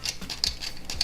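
Light taps on the thin plastic door piece of a Best Lock Jeep-like toy vehicle from a Terminator construction playset. The taps give short, bright, hollow ticks, up to seven of them, with no ring-out. The plastic sounds hollow and is very flexible, bowing inward when the door is turned.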